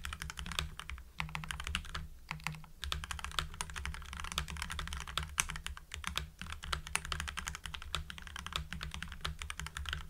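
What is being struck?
Mechanical keyboard with plastic PBT keycaps.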